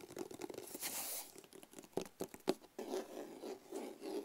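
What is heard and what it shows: A medium, hollow, black rigid cardboard box with a label is scratched and tapped with nails and fingertips. Dry, papery scratching and rustling alternate with sharp, hollow taps, and a brief bright hiss near the start. The taps have a light midrange box tone and stop almost instantly.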